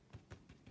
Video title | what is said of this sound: Super Easy and Super Delicious Challah Bread | if it sounds Hollow it's ready to go